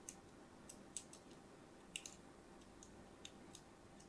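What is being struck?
Bar of soap.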